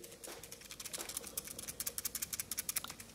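A plastic Mophie Juice Pack battery case for the Samsung Galaxy S3 is shaken, and its loose side volume and power buttons rattle in a rapid series of sharp, bright, high-pitched clicks. The rattling is a fault that makes the case quite annoying, and the buttons rattle the same way with the phone inside.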